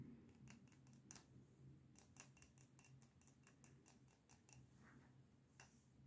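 A small lit Star Wars themed candle in a frosted glass jar filled with solid wax is held in both hands and tapped rapidly with short fingernails and fingertips on its glass sides. The result is a quick run of light, crisp clicks and ticks with very short ring, over a steady faint low hum.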